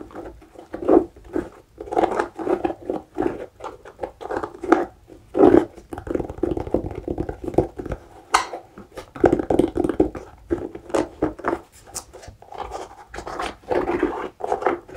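Fingernails scratch and tap the foam and rubber midsole and lugs of an empty, new tan suede Skechers hiking boot held side-on. The result is a steady run of dry, quick-fading clicks and scratchy rustles centered in the midrange, with almost no deep or high tones.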